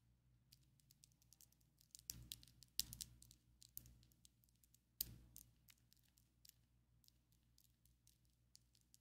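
Long coffin-shaped ombre acrylic nails on both hands, small and hard, tap and click their tips against each other. The result is a quiet, irregular stream of sharp, bright clicks with almost no ring, broken by a few louder bursts of tapping that carry a brief low thump.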